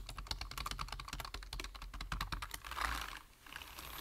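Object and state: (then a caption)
Plastic computer keyboard. Fingertips tap quickly on a black plastic computer keyboard with hollow keys, producing a fast run of short, bright, hollow clicks over a low steady hum. Around the end, the typing gives way to a brief broader swish, then a quieter hiss.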